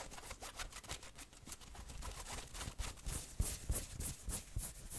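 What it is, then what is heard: Fleece hoodie. Fingertips and nails scratch the printed chest and sleeve of a worn fleece hoodie, making a quiet, fast run of soft, uneven rubbing strokes with a dull low thump and a bright scratchy hiss. The strokes come in quick bursts, growing a little sharper toward the end.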